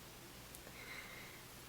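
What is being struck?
Nothing is struck.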